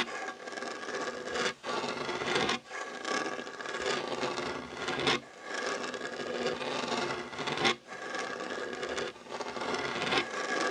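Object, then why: Wooden tabletop. Short fingernails and fingertips scratch across a solid, dark wooden tabletop beside an untouched fabric heart coaster. The result is a steady, dry, raspy scratching with bright texture and little low end, broken by a few brief pauses as the strokes change.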